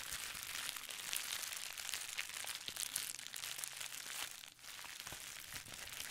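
A folded sheet of clear plastic bubble wrap is squeezed and crinkled by hand. It makes a steady, bright, dense crackling throughout, with almost no low end. The sound dips briefly about two-thirds of the way through before resuming.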